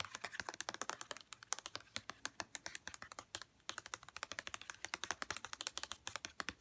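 Long red-painted nails tap and scratch quickly over a hollow white plastic St. Ives body lotion bottle with a printed label. The result is a dense run of crisp, bright clicks with almost no low end and no ring, with one brief pause partway through.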